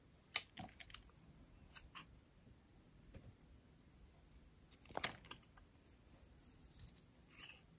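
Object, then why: Bar of soap shaved with a blade. A solid, hand-sized rectangular pink bar of dry soap with a green edge is held in a hand with long painted nails and shaved with a metal utility blade, peeling off curls. About twelve quiet, dry, bright scraping clicks and crisp shaving strokes sound with very short decay, separated by near silence.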